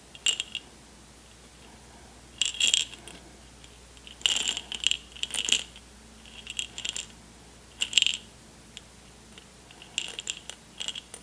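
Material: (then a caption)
Glass, candy. An airtight jar full of M&M candies, unopened since they were taken from a backstage lounge, is shaken and handled. The candies rattle against the jar in short, bright bursts with long quiet gaps between them. The rattling is light and high, with almost no low end.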